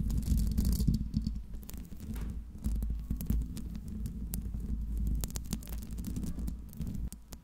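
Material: Metal mesh.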